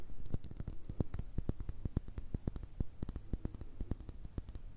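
Long red nails rapidly tap the bottom and sides of a small round cosmetic cream pot with a clear glass base and a black plastic lid. The taps are short, dry clicks with bright tips that stop almost instantly, heard over a steady low hum that carries most of the energy.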